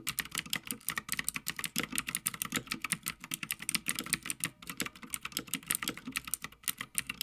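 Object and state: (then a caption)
Mechanical keyboard with plastic keycaps on a metal plate. Fingertips of both hands type continuously on a full-size backlit Havit mechanical gaming keyboard with plastic keycaps on a metal top plate. The result is a rapid, steady stream of crisp, bright clacks with almost no low end. Each keystroke stops dead.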